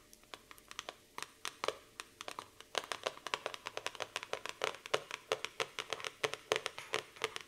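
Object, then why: Laminated cardboard notebook cover. Quick, dry clicking taps of fingernails on a laminated cardboard notebook cover, each dying almost at once.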